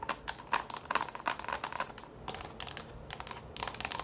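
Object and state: Plastic bowl tapped with nails.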